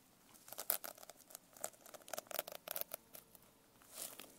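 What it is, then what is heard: Sequin-covered notebook being scratched and tapped. Long nails scratch and tap the sequins on the cover and spine of a closed, sequin-covered notebook held edge-up. A quiet, dry run of many quick, crisp clicks and rustling scrapes in the high range, with almost no low end and no ringing. A softer swishing scrape comes near the end.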